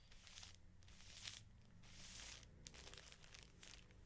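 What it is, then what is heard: Plastic-wrapped felt sheet pack. Fingertips rub, scratch and crinkle the thin clear plastic wrapper over the label of a flat stack of felt sheets. The result is soft, bright crinkling and scratchy rustles in several bursts, with a few sharper crackles over a low, steady background hum.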